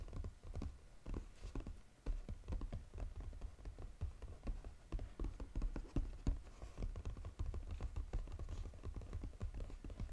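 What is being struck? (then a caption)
Paperboard box. Fingernails tap fast across the lid of a flat brown Godiva paperboard chocolate box lying flat. The result is a dense, uneven patter of dull, hollow clicks with a heavy low thump and almost no ring. The taps run steadily through the whole clip, with brief lulls and a few sharper accents.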